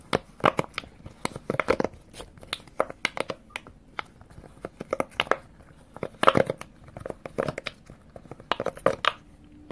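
Fingertips press and pop the hollow silicone bubbles of a square rainbow silicone push-pop fidget toy, row by row, held close to the camera. A dense run of short, dry pops and crinkly clicks follows, some louder and brighter than others, each dying away almost at once.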